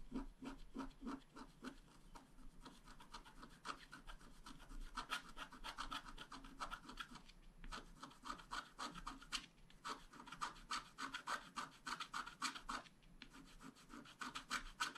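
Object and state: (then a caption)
Scratch-art card being scratched. A wooden stylus scratches the coating of a thin black-coated scratch-art card lying flat on a table in short, repeated strokes. The result is a quick, somewhat uneven run of dry, rasping scrapes, about three or four a second, centered on a midrange tone with a bright hiss. Each scrape stops sharply with no ring.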